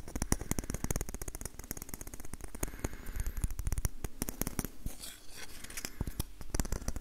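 An orange varnished wooden ladle with a curved handle and a hollow bowl is tapped on the bowl with fingertips and nails close to the recorder. A rapid, uneven stream of short, dry taps follows, each with a hollow low thump and a bright clicking edge from the nails, dying away almost at once.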